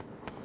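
A finger flicks the magnet-attached metal sheriff badge on a custom Woody toy, showing it is real metal rather than plastic like the badge on the Thinkway Toys version. The flick gives a short, quiet, bright metallic tick with a brief high ring that fades almost at once. It sounds like metal.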